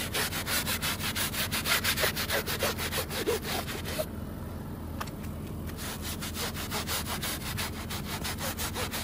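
A hand scrubs a very muddy woven fabric rug, working over its backing and fringe edge with a wooden-handled stiff bristle brush. Rapid back-and-forth strokes make rhythmic, scratchy, bright bristle rasps at about three per second, over a steady low hum. The strokes grow softer and duller for a stretch in the middle before picking back up.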